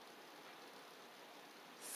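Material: Nothing is struck.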